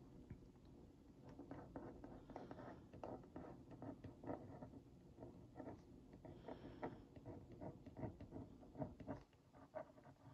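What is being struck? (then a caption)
Cardboard cookie box. The tip of a wooden skewer is traced over the printed text on a hollow Oreo Mini cardboard box held in one hand, making a scratch. Quiet, dense scratchy ticks and dry rubbing patter along for about ten seconds, sitting mostly in the low and middle range with little brightness.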